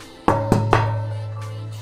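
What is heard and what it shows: A bare sheet aluminum rear bulkhead panel, one of the panels separating the cockpit from the engine bay, is knock-tested three times before any sound deadening is applied. Each knock gives a sharp tap followed by a sustained metallic ring with a clear tone around 900 Hz over a steady low hum, decaying slowly between hits. The untreated panel rings noticeably, which is why damping material is planned.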